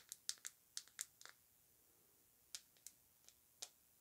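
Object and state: Glass rollerball perfume bottle.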